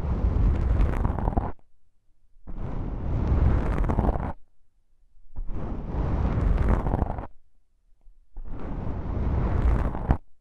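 A fingertip with a long pink nail taps on a pair of small, soft, porous black foam windscreens on a stereo microphone, lifting between taps. The result is a deep, muffled, rumbling thumping, almost all low-end, that comes in sustained bursts separated by brief near-silent pauses.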